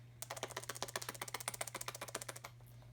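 A clean, fully functional steel hydraulic roller lifter is shaken for comparison, and its free-moving internal mechanism gives a rapid, steady run of sharp, bright clicks for about two seconds. A low, constant hum sits underneath. Unlike a stuck lifter, this one moves freely and clicks audibly, which is normal.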